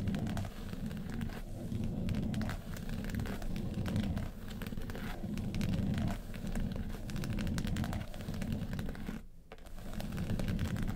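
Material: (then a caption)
Faux leather. Long pointed nails scratch and tap the lid of a small hollow hard makeup case covered in woven-texture yellow faux leather. The result is a steady, dense, crackly scratching with a low, hollow body, briefly dropping away near the end before resuming.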